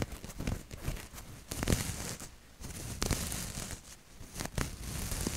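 Long nails and fingertips scratch and rub a maroon cotton t-shirt with a maple leaf print close to the mic. The sound is a steady, soft fabric rustle with brighter scratchy bursts and a low, muffled rumble underneath, swelling and easing as the rubbing continues.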